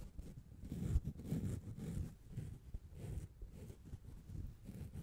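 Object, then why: Foam microphone windscreen. A soft, hollow black foam windscreen cover, taken off the microphone and held in both hands, is rubbed and scratched with long nails and fingertips close to the bare mic grille. The result is a quiet, muffled, low rumbling of brushing and scraping that swells and fades in uneven waves, with faint hissy traces up high.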